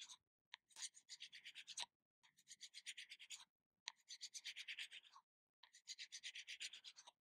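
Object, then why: Small plastic jar lid. Long nails scratch and tap across the lid of a small round plastic body butter tub held in the hand. The result is quiet, bright, rapid scratchy tapping in four bursts separated by short pauses.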